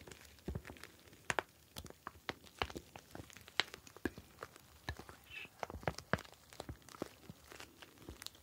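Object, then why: Plastic pouch of gel beads. Fingertips squeeze and rub a clear plastic gel bead ice pack, a pouch filled with blue gel beads. The result is a quiet, irregular run of sharp, bright crinkling clicks and soft crunches, with short squishy rustles between them.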